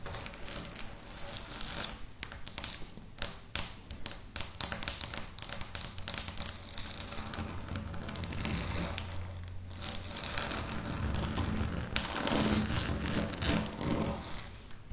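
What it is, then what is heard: Felt table mat tapped and scratched with nails. Long natural fingernails of both hands tap and scratch the surface of a flat, speckled felt or carpet-like table mat. Sharp, bright clicks of the nails come in dense, irregular bursts over a soft crinkly scratching texture, with a steadier low rustle building toward the end.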